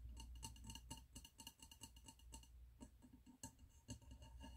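Fingertips and nails tap the glass wall of a medium, wax-filled glass candle jar with a red label and gold metal lid, held in the hands. The result is a quick, irregular run of bright, clicky glassy taps, each with a short ring, over a steady low hum.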